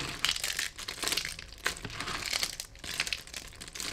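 Bare fingertips press, rub and scrunch through a large, tray-wide pile of thin, brittle, dry soap flakes in lilac, grey and cream, crunching them together. The result is a dense, bright, crackling crinkle in uneven bursts, almost all high-pitched with very little low end, and each crunch dies away quickly.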